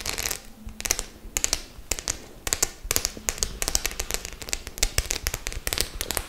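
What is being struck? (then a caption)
Faux leather clutch bag with metal studs. Long nails tap and scratch across the metal studs of a white studded faux-leather clutch bag. It makes a rapid, irregular run of bright, dry clicks with very short decay, mixed with softer scratchy rustling between the taps.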